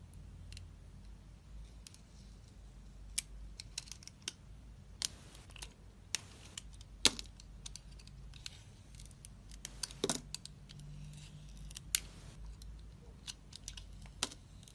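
A box-cutter blade slices thin layers off the face of a solid rectangular DURU bar soap, pink outside and white inside, held in the hand. Quiet, bright crisp scrapes and sharp clicks come in irregular bursts over a low steady hum, each cut ending abruptly with no ring.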